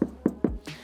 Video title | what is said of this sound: VW T5.1 Camper is Back Again!! Part 3 is all about Home Comforts - Lighting, Insulation & Panelling | you've got a real dull thud, which means that we're not just hitting the bare metal. We've got the sound deadening.